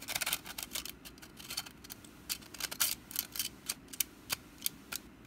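Long black nails scratch and tap the woven strands of a small, hollow, orange wicker pumpkin basket with its lid partly open. The result is a quiet run of dry, bright, crackling scratches mixed with sharp little ticks that stop dead, with almost no low end.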